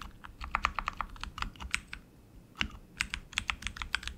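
Both hands type continuously with their fingertips on a tenkeyless RGB mechanical keyboard with tactile switches, plastic keycaps, and an aluminum frame. Quick, sharp clacks with a bright, high edge land in an uneven rhythm, centered around 1.2 kHz, with a brief lull just past the two-second mark before the typing resumes.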